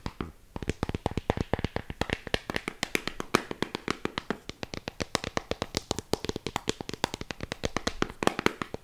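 Long pink nails tap rapidly on the back of a Kindle e-reader in a black protective cover, lying flat and solid. The result is a quick, steady run of short, dry, clicky taps with no ring, spread across low and bright tones.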